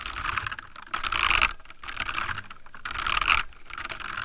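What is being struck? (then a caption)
Plastic mechanical computer keyboard. Both hands type rapidly with their fingertips on a full-size backlit plastic mechanical computer keyboard resting on a wooden desk. The result is a dense stream of bright, clicky key taps that swell into two louder bursts around the one-second and three-second marks. Each tap is crisp and short, with a clattery tone centered near 1.3 kHz and little low end.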